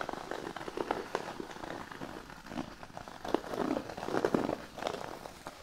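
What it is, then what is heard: Cork board being scratched. Fingernails on both hands scratch the surface of a large, flat, thin cork sheet resting on a blanket. The result is a soft, dry, crackly scratching with quick uneven bursts, centered in the low-mid range with little deep bass or bright top.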